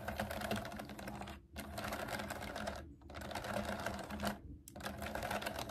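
Long nails type fast on a pastel plastic mechanical keyboard with round keycaps resting on a table. The result is a dense stream of quick, bright plastic clicks and clacks, broken by three brief pauses before the typing resumes.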